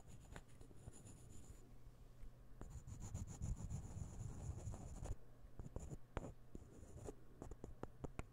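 A partly assembled set of solid light-wood puzzle ball pieces is held near the microphone and rubbed and tapped with the fingertips. Soft, dry scratching and rubbing alternate with short, sharp wooden taps, especially toward the end. A faint steady low hum and a thin high whine sit underneath.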